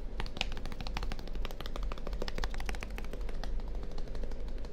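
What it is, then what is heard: Plastic deodorant stick. A small purple plastic deodorant stick container with a label, hollow and seemingly full, is held in one hand beside a binaural microphone and tapped rapidly with the fingertips and nails of the other hand. The result is a quick, irregular stream of short, dry, bright clicks that die away almost instantly, over a steady low hum.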